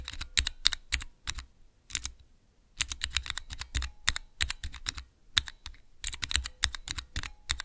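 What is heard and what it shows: Fingertips press the keys of a small clear plastic 3x3 key switch tester fitted with Cherry MX mechanical switches. The result is a run of sharp, bright clicky taps with a brief thud beneath each, coming in quick irregular bursts with a short pause partway through.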